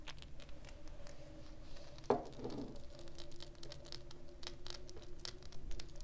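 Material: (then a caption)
Glass. A round, hand-sized purple glass perfume bottle with a gold metal cap, hollow and appearing to hold liquid, is held in the hands and tapped on its glass body with long painted fingernails. One sharp, clicky tap stands out midway, with a brief low ring around 410 Hz that dies away quickly. Faint soft tapping and handling noise fill the rest of the quiet clip.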